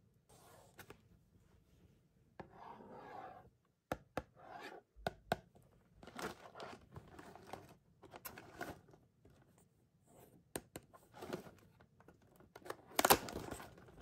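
A small, closed and likely full printed cardboard box of Scooby-Doo Snack & Surprise graham crackers is held in the hand and turned over while long painted nails rub and scratch along its flat sides. Soft papery scraping comes in bursts, broken by sharp dry clicks and taps, with a brighter, louder scratch near the end.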